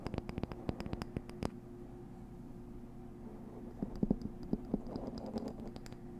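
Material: Cardboard.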